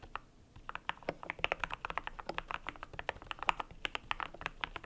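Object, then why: Plastic mechanical keyboard with plastic keycaps. Fingertips type steadily on a cream compact mechanical keyboard with PBT plastic keycaps. A rapid, uneven run of dozens of short, dry clacks plays, each mid-pitched with a bright top and almost no low end. Every keystroke stops instantly with no ring.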